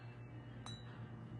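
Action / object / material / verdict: flick / cut-glass decanter / crystal glass / crystal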